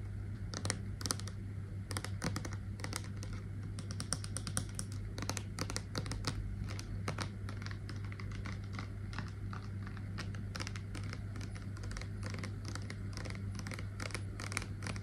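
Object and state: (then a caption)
Plastic cleanser bottle. Long nails tap rapidly on a Clean & Clear plastic cleanser bottle with a purple cap, full of orange liquid, making quick, sharp, dry clicks. A steady low hum sits underneath the tapping throughout.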